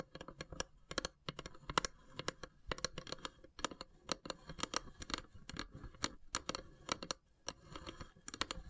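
Long grey nails tap rapidly on the carved, perforated lid of a long, narrow, hollow wooden incense box with brass elephant inlays. The result is a quiet, irregular stream of quick, dry, bright clicks that stop almost instantly, with a faint scratchy texture between the taps.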